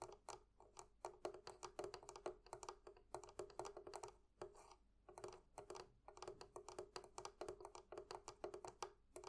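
Long nails tap rapidly on two small metal clasps fitted to a hollow wooden barrel chest. The result is a quiet, continuous run of short, dry clicks with a hollow tone around 360 Hz. Brief pauses break up the bursts, and each tap dies away almost at once.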